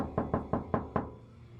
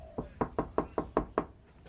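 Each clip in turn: First: hollow, tinny car door panel without sound deadening. Second: solid-sounding car door with sound deadening.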